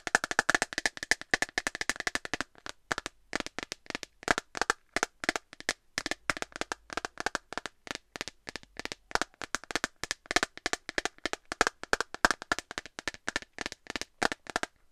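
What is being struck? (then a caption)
Clear plastic phone case. An empty transparent plastic phone case with a dark bumper edge is tapped and scratched with long nails, producing rapid, sharp, bright clicks with almost no ring or low end. A dense flurry of taps at the start gives way, after a brief pause, to steadier irregular clusters of tapping through to the end.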